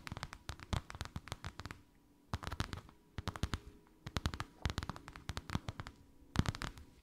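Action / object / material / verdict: tap / embossed faux leather sheet tapped with fingernails / faux leather / none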